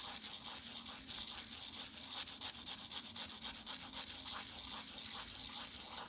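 Long nails scratch and rub across the wave-embossed cover of a flat pink foil-printed cardboard eyeshadow palette held up in both hands. Quick, steady back-and-forth strokes make a dry, bright, hissy rasp, with each stroke a short high burst and almost no low end.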